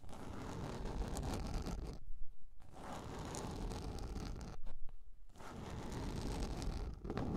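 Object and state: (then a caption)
Plastic container lid being scratched. Long nails scratch across a large round yellow plastic container lid, giving a steady, grainy scraping with a heavy low rumble. The scratching stops briefly twice, near the two- and five-second marks, then resumes at the same level.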